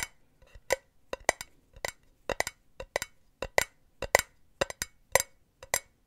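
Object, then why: Perforated metal mesh pen holder. Long nails tap and scratch the side of a hollow, empty, silver perforated metal mesh cylinder pen holder held in the hand. About nineteen short, sharp metallic clinks come in an irregular rhythm, each with a bright, tinny ring around 560 Hz and 2 kHz that dies away almost at once.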